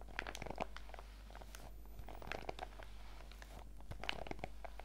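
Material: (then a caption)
PVC plastic. A printed clear PVC zip pouch lies flat on a table while both hands rub and scratch its surface with fingertips and long nails. Quiet, bright crinkling and scratchy clicks come in irregular clusters over a steady low hum, with short brief lulls between bursts.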